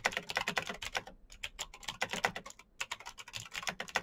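Fingertips type quickly on a black plastic mechanical keyboard with backlit keycaps. A rapid run of short, bright, clacky key strikes plays with little low end, slowing briefly near 1.2 seconds and going almost quiet around 2.6 seconds before the typing picks up again.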